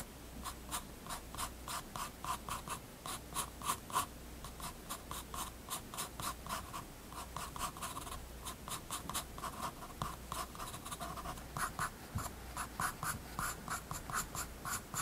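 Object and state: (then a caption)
Pencil on sketchbook paper. A graphite pencil scratches rapid, short line strokes on a page of a spiral-bound paper sketchbook resting on a wooden desk. Each stroke is a brief, dry scratch with a papery rasp centered around 1.1 kHz and bright edges, repeating steadily over a faint low hum.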